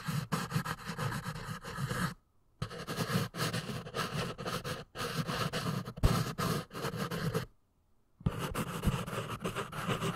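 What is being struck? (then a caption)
Pencil on a paper notepad. A pink pencil tip scratches and writes quickly across the lined page of a small paper notepad with a red cover, held in one hand. The sound is a dense, scratchy rasp broken by short pauses, with bursts of scribbling stopping near 2 seconds and again from about 7.5 to 8 seconds before resuming.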